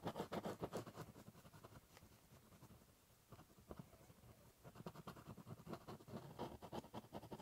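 The tip of a ballpoint pen scratches across a large, hollow, brown corrugated cardboard box while drawing letters. It makes quick, dry, papery strokes with a hollow, boxy body. The strokes are busy and louder at the start and end, with a softer, quieter stretch of scribbling in the middle.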